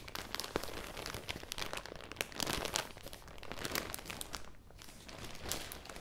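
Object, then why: Thin clear plastic garment bag. Long dark-red nails and fingertips crumple and scratch a thin, clear, crinkly plastic garment bag holding a folded cream sweater, held close to the mic. A dense, steady stream of sharp, bright crackles and crinkles runs throughout, with a brief quieter dip near the end as the bag is lifted.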